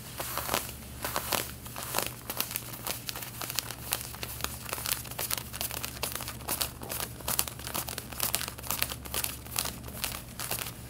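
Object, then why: Cotton denim jeans. Long painted fingernails scratch over the back pocket stitching and fabric of snugly worn light-blue cotton denim jeans. The result is a steady run of dry, bright, crinkly scratching strokes over a faint constant low hum.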